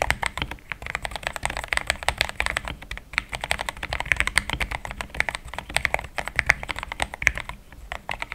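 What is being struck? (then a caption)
Plastic mechanical keyboard keys. Fingertips of both hands type fast on a compact pink-white mechanical keyboard with thick plastic XDA keycaps, a polycarbonate plate and linear switches, resting on a desk mat. A steady, rapid stream of short, bright plastic key clacks with a tonal center near 2 kHz, each stopping almost instantly, continues without a break.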